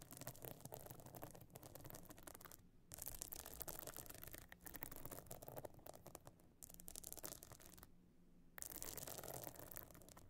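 A closed metal-frame clutch bag lies flat, its top encrusted with pebbles and stone chips, while long nails scratch across it. A dense, gritty scraping and rasping plays in bursts, broken by a few brief quiet pauses.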